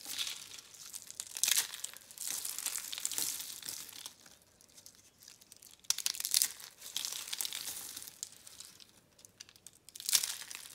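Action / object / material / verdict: scrape / soap curls / soap / none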